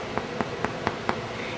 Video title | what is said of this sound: DIY: Whole Wheat French Bread | turn it over and give it a knock and it should sound hollow so obviously that sounds hollow